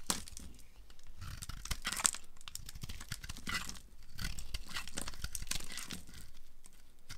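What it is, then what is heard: Dry bar soap being carved. A small yellow-handled knife shaves and carves flakes off a solid, palm-sized pink bar of dry soap held in one hand, letting chunks and flakes pile up on a grey surface. The audio is a steady run of dry, crisp scraping and crumbly crunches with bright, papery tearing textures and no ring. Louder bursts of cutting come in waves across the clip.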